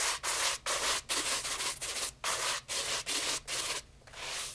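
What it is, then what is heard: Leather loafer being brushed. A light brown leather loafer with a shoe tree, held in hand, is rapidly brushed with a wooden-backed horsehair brush. Quick bright bristly swishes come in a fast back-and-forth rhythm, about nine strokes with short gaps. The last stroke is softer and more drawn out.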